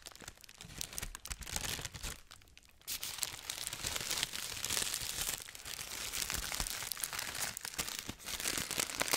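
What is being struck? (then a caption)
Thin tissue paper wrapping on a package. A medium-sized package wrapped in thin pink tissue paper is held up close to the microphone while hands and fingertips crumple and crinkle the paper. The result is a dense, bright, crackling rustle with little low end. It quiets briefly a little before the three-second mark, then returns fuller and steadier for the rest of the clip.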